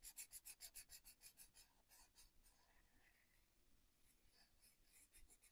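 A white-bodied felt-tip marker, held by the fingertips, fills in a paper colouring book page on a wooden desk with repeated rubbing strokes. Thirteen quick, bright, scratchy back-and-forth strokes come first, then settle into a softer, continuous rub of the marker tip on the paper before a few more distinct strokes at the end.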